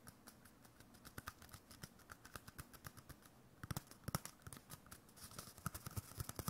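A hollow, empty cardboard roll core about 10 cm long, wrapped in white paper with a drawn face, is held in one hand and tapped quickly with the fingertips and nails of the other. Dense, dry clicks and soft hollow thumps follow in irregular bursts, each dying away almost instantly. The taps grow louder and brighter about two-thirds of the way through.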